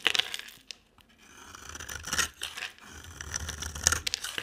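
A utility knife blade shaves and scrapes a solid, dry, oval light-green bar of soap with a dark rim. Crisp, bright scraping and crackling bursts come in short strokes with tiny clicks, broken by a brief quiet pause near the first second.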